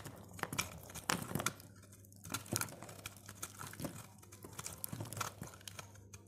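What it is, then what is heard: Dry soap bar, crunchy when shaved. A utility knife blade cuts and shaves crunchy flakes from the face of a solid, dry purple soap bar held in the fingers. Crisp, bright crunching and crackling bursts come in uneven clusters, with short quiet gaps between strokes.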